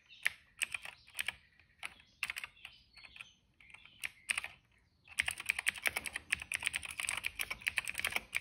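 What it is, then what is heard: Plastic mechanical keyboard being typed on. Fingertips of both hands type on a retro-style cream plastic mechanical keyboard with dark and purple plastic keycaps and a hollow case, resting on a rug. Scattered, bright, clacky key taps for the first five seconds give way to a steady, dense run of fast typing. Each tap is short and sharp, with almost no low end.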